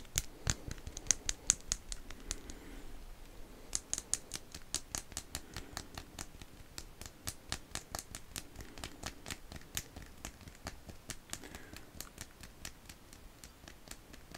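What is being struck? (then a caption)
Plastic wristwatch strap. Fingertips and nails of the right hand scratch and tap along the links of a chunky, segmented black resin/plastic strap on a large black wristwatch worn on the left wrist. The result is a quiet, irregular stream of sharp, dry clicks with very short decay and a thin, high scratchy texture between them.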